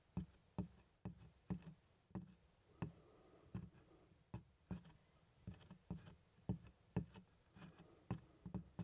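Small plastic toy hands tap on the grained-leather front, beside the handle, of a large black leather doctor's bag that is hollow, closed and held upright. The result is a quiet, irregular series of short, dull, low thuds with a slight hollow body around 180 Hz. Each tap dies away almost instantly.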